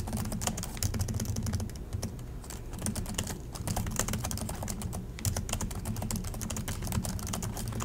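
Both hands tap continuously with their fingertips on the plastic chiclet keys of an Acer laptop keyboard, producing a rapid stream of short, bright clicks with very little ring. The typing briefly slows around the two-, three- and five-second marks, over a steady low hum.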